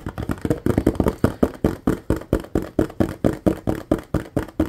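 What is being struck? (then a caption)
Ribbed plastic bottle. Fingertips and nails tap quickly along the ridges of a large, clear, ribbed plastic bottle with a yellow cap, mostly empty with a little liquid at the bottom. The result is a fast, slightly uneven run of short, dull, hollow knocks, each dying away almost at once, with a low body and a mid-range tone.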